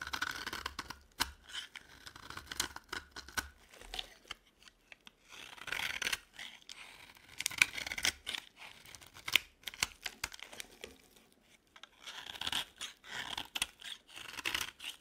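A yellow bar of dry solid soap is carved and scraped with a utility knife blade, producing dry, bright scratching and shaving sounds in irregular bursts. The scrapes are quiet and crisp, with short pauses between passes.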